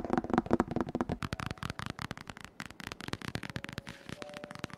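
Fingertips and short nails tap and scratch the glossy laminated cardboard cover of a large, closed hardcover children's book, "My First Big Book of Questions & Answers," lying flat on a dark wooden table, recorded close up from above. Quick, irregular dry clicks and taps with very short decay tumble over one another, mixed with soft scratching on the slick surface.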